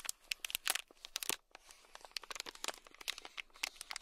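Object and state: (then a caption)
Plastic bag of beads. A thin black stick scratches a small, sealed, clear plastic bag packed full of tiny red beads. It makes a rapid run of bright, crinkly scratches and crunchy bead rustles, each burst short and dry with almost no low end. The scratching pauses briefly, then starts again.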